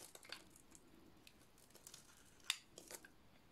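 A dry, solid blue oval soap bar with a painted black and yellow coating is shaved with a metal blade. Nine quiet, bright, crisp scraping crackles with almost no ring are heard, the sharpest near the middle of the clip.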